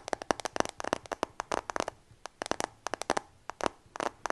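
Fingertips and nails tap rapidly on the back and frame of a new dark iPhone, a solid glass and metal smartphone held in both hands in front of a microphone. About 22 quick, sharp clicky taps come in uneven bursts, each one dry and gone almost instantly with no ring.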